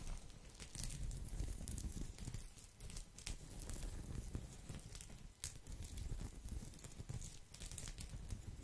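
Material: Straw.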